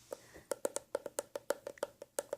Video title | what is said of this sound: ASMR Gentle Tapping sounds - Whispered | the leather of course deadens the sound somewhat but it's Hollow